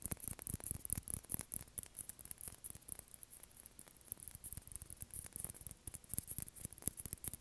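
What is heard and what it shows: A small, hollow, white plastic ping pong ball is held in the hand and tapped and scratched with fingernails. A quiet, fast string of short, dry clicks with soft low thumps runs throughout, laced with a bright, crackly scratching hiss.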